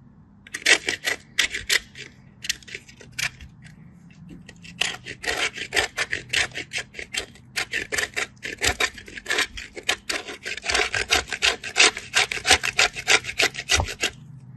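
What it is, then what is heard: Bar soap grated on a metal grater. A solid white bar of soap with a cut, stepped surface is rubbed back and forth across a small stainless steel grater held in the other hand. Fast, bright rasping strokes repeat at an uneven rhythm, starting sparse and quiet, then growing denser and louder after about five seconds. Each stroke is short and dry, with no ring after it.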